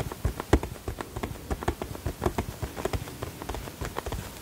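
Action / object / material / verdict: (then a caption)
tap / small cardboard box / cardboard / none. Fingertips and nails tap the sides of a small, hollow printed cardboard box with a flower design held in both hands. The result is an uneven run of quick, dull, hollow knocks with a low thump and little high sound, each dying away almost at once.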